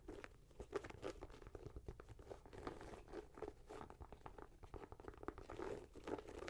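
Long nails scratch and tap the leather and mesh upper and laces of a red-grey Nike Air Max 90 with a rubber sole, held in the hand. A dense stream of soft, dry scratching and quick crunchy taps sits mostly in the low-mid range, with little bright content and almost no ring after each touch.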